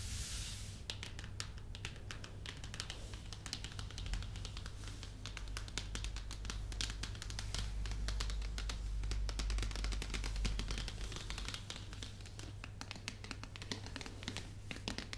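Long nails and fingertips tap rapidly and irregularly on the top face of a full, shrink-wrapped white printed cardboard box for a new MacBook Pro 13, producing bright, crisp clicks and light crinkles from the plastic film. The taps continue for about 15 seconds over a steady low hum.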